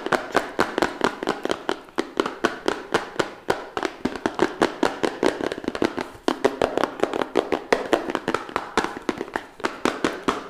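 Fingertips and nails rapidly tap and scratch the sides of a small, hollow, red printed cardboard phone box held upright in both hands. Dozens of quick, dry, papery taps ring out with a hollow midrange knock around 480 Hz. Each one cuts off almost instantly, with a brief gap near the six-second mark before the fast tapping resumes.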